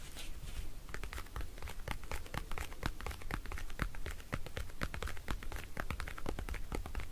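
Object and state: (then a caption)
Plastic compact mirror. Fingertips and nails tap and scratch the lid of a small, round, pink-patterned plastic compact folding mirror, closed and lying on a wooden table. Dense, rapid, bright clicks and dry scratches ring only briefly with its hollow hard-plastic case. A steady low hum sits underneath throughout.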